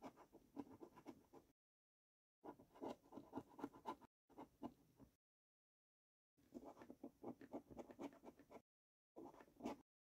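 A coin edge scrapes the latex panels of a thin gold paper scratch card lying flat on a wooden table. Five bursts of quick, dry, gritty scraping strokes are separated by short silences. The rasping sits mostly in the low mids with a thin bright hiss.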